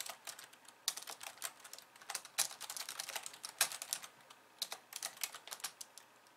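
Long polished nails and fingertips of both hands type rapidly on the plastic keys of a compact pink and white plastic computer keyboard resting on a wooden desk. A fast, uneven stream of bright, crisp clicks and clacks is heard, each dying away almost instantly, with no low rumble beneath.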